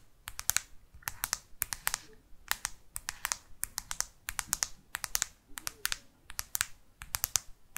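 Long artificial nails tap rapidly on the matte plastic back cover of a black smartphone held upright. Sharp, bright clicks come in quick clusters separated by short pauses. Each tap is dry and dies away almost instantly with no ring.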